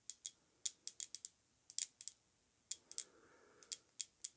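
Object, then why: Glass perfume bottle. Long nails tap an Amouage Guidance perfume bottle, a filled pink lacquered glass bottle with a ribbed cap, as it is held and turned. About eighteen quiet, bright, clicky taps come in uneven bursts, each dying away almost instantly. A faint soft rustle sits underneath near the end.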